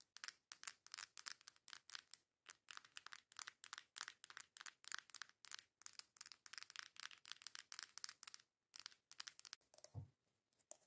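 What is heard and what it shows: Long acrylic nails rapidly tap and scratch the cover of a coral cardboard face palette held flat. The result is a quiet, continuous stream of dry, bright clicks and scratchy bursts with almost no ring, broken by brief pauses near 2.3 and 8.7 seconds. A soft, low thump lands near the 10-second mark.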